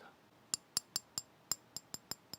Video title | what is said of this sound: 여름 휴가준비 기회, 할인 명품으로 고고!. 듀퐁 스니커즈, 젠틀몬스터 선글라스 언박싱. 명품 듀퐁 세일 소식까지! 젠틀몬스터 이런 장점이 있었네? | 금속 소리 들리시죠? 금속 재질입니다.